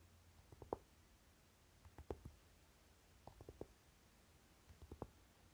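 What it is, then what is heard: Flocked tin eyeshadow palette, hollow. Short nails tap and scratch the lid of a flat rectangular Naked eyeshadow palette, a hollow, dark, velvet-flocked tin case, using both hands. Quiet, muted taps come in small clusters spread across the clip, with a soft, dull, hollow midrange knock and almost no ring. A faint low rumble sits underneath.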